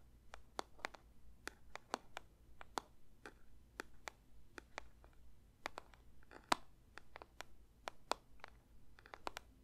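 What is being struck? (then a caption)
Paper box. A paper box is lightly tapped with the fingers for ASMR. Quiet, dry, crisp taps fall in an irregular stream across the clip, each a brief bright click with no ring. A faint low hum sits underneath.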